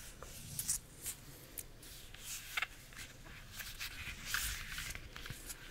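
Long nails scratch and tap the peel of a bunch of ripe bananas. Soft, bright scratching runs throughout, broken by several short, crisp taps that stop at once with no ring.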